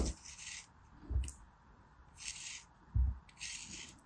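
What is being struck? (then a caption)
Kinetic sand figure scraped with a metal knife. A metal craft knife tip scrapes and carves a solid, palm-sized beige kinetic sand animal figure held in an open hand. Soft, gritty, bright scraping strokes come in short bursts, alternating with dull low bumps. Five distinct sounds are heard in all, fairly quiet and unevenly spaced.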